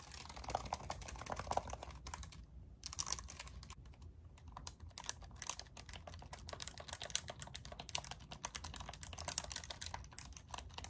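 A pink and white plastic graphing calculator with a hollow casing is tapped with long nails on its back, keys and sides as it is rotated in the hand. Rapid, dense, clicky taps with a bright edge ring out over a low background hum, each tap very short and dry.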